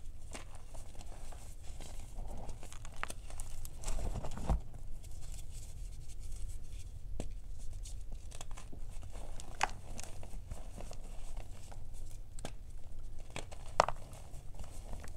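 Solid white gym chalk block pieces, held between fingertips with red nails over a bowl of chalk powder, are snapped and crushed, then rubbed into powder. Sharp, brief snaps and dry crumbly crackles pop out over a steady low rumble. The chunks break down into fine powder.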